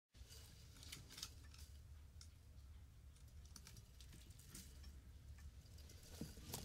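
A flower vase is tapped in a steady run of light, bright clicks and clinks over a low, constant rumble. The taps are short and crisp with little ring, and a few sharper strikes land near the end.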